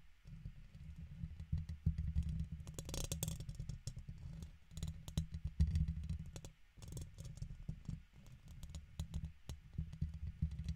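A red plastic guitar pick is scratched with the fingertips along the side of the hollow woven metal mesh grille on a large silver USB condenser microphone. The result is a dense, low, rumbling scrape full of quick clicky ticks, with brief lulls around six and a half and eight seconds before the scratching resumes.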